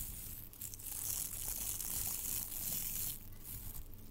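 Blue sparkly tinsel garland strands of metallic plastic are held in both hands and squeezed and rubbed with the fingertips close to the microphone, possibly brushing the mic grille. A steady, bright crinkling rustle fills the clip over a soft low rumble, swelling and easing as the strands are worked.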